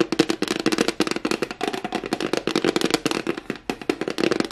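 A flat white rectangular plastic tray with a raised rim and a hollow underside is held in both hands while fingertips and nails tap quickly on its face. The result is a dense, continuous flurry of short, dry clicks and taps with a hollow plastic tone and bright crackling edges, each tap dying away almost instantly.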